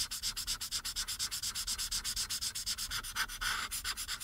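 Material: Paper.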